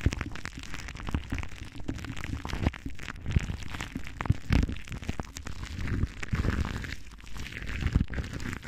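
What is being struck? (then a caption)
Metal wire-mesh microphone grille. Long dark nails of both hands, cupped around a large silver microphone, scratch across its hollow metal wire-mesh grille. The result is a dense, boomy stream of crackling, rustling scratches dominated by low rumble, with frequent sharp clicks and pops.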